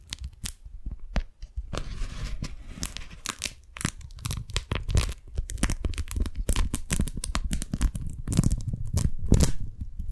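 Long nails and fingers peel apart the sticky folds of a pink, strawberry-print beeswax-coated cotton food wrap and open it flat. The result is a dense run of sharp, crackly tearing and crinkling snaps with bright edges over low, soft handling thumps, continuing steadily with no ringing.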